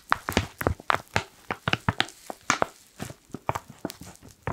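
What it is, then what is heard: Foil coffee bag. A black foil coffee pouch is crinkled and rubbed with fingertips, giving a quick, uneven series of sharp, dry crackles with bright high edges. Each crackle snaps off almost instantly, leaving brief quiet gaps between bursts.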